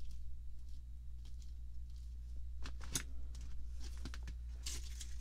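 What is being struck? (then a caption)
Plastic package of paint brushes. Fingertips and long French-manicured nails tap and scratch across a clear sealed plastic package holding about 25 plastic-handled paint and foam brushes, lying flat on a table. Soft, bright crinkles and short ticking taps come and go over a steady low hum, with brief brighter bursts of scratching.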